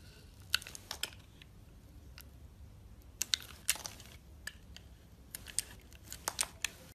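A metal utility blade slices thin layers off a solid purple bar of soap held in a hand with purple nails. Crisp, bright crackling cuts come in irregular bursts over a quiet low background hum. Each cut is short and dry, with almost no ring.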